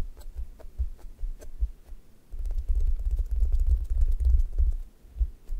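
Long nails poke and scratch the top of a brown, crust-textured squishy toast toy made of solid soft foam, leaving dents. Soft, muffled low thumps come first, then denser rubbing and scratching with faint clicks over a dull low rumble.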